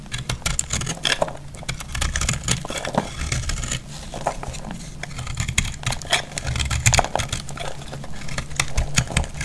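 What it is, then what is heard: Dry recycled soap block being cut. A metal blade cuts and scrapes a solid, palm-sized block of dry, recycled, flaky purple-grey soap held in the hand. Dense, crisp crackling and scraping ticks run throughout over a steady low rumble. Crumbling pieces break off and fall.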